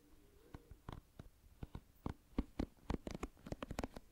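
Fingertips run over and flick the dense pin bristles of a hand-sized oval plastic paddle hairbrush held close to the microphone, making a scratching sound. About sixteen quiet, sharp flicks and clicks come in an uneven patter, each dying away almost instantly, with a soft, low-heavy body and brief bright ticks.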